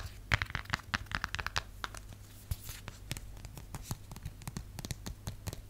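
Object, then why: Plastic phone case. Long nails tap and scratch the textured back of a cream plastic or silicone phone case, likely with a phone inside. Short, sharp clicks come in quick bursts with dry scratching between them, and each tap dies away almost at once.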